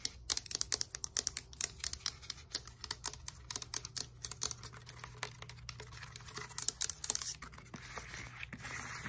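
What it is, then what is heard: Textured foam roller. Long nails rapidly tap and scratch the foam knobs and the hollow white core of a black textured foam roller. Dozens of quick, crisp, bright clicks and taps blend with dry scratchy rustling over a faint, steady low hum.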